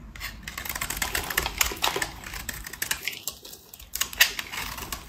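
A metal utility-knife blade scrapes and cuts curls off the surface of a solid pink rectangular bar of dry soap held in hand. The sound is a quick run of dry, crisp, bright scratching and clicking strokes, with a short squeaky tone partway through and a few sharper cuts near the end.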